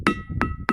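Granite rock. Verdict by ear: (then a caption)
Ringing. An iron-rich granite rock on a sonorous rock ridge roughly 30 km long is struck three times, each blow giving a sharp clink followed by a short musical ring. A steady high tone carries through between the strikes, confirming the rock rings like the others along the stretch.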